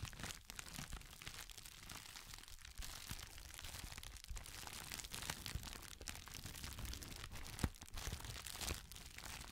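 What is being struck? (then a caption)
Thin plastic packaging sheet. A thin, clear, textured plastic crinkle packaging sheet is held folded in both hands while the fingertips continuously crinkle and squeeze it. The result is a steady, dense stream of bright crackling and rustling, with a few sharper crunches standing out.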